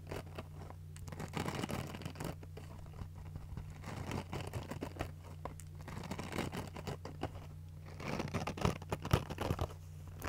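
A foam kitchen sponge with a green abrasive scouring pad is held in both hands while long nails scratch across the scouring side. The result is a dense, irregular run of dry, crackly rasping and scratching over a steady low hum, growing louder and sharper toward the end.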